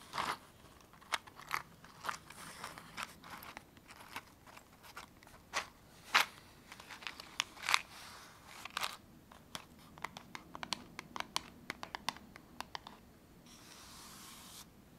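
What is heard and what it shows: A small blue printed cardboard matchbox, held in both hands, is tapped and scratched along its sides and edges by long painted fingernails. It makes a quick, bright run of dry crunchy clicks and crackling scrapes with no lingering ring. Near the end it settles into a soft, steady hiss of scratching.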